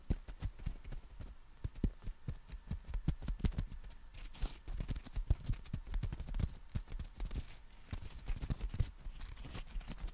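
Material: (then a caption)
Nylon. Fingertips tap and scratch the canopy of a folded black nylon compact umbrella. Rapid, dull, low thumps run throughout, with soft scratchy brushing between them and brief brighter swishes around the middle and near the end.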